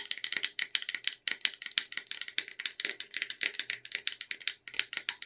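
Long red nails rapidly tap and scratch the sides of a cylindrical red Caprice wafer tin with a clear plastic window, full of wafer rolls. The result is a fast, uneven stream of dry, bright clicks and scrapes centered around 3 kHz, each dying away almost instantly with no low-end body.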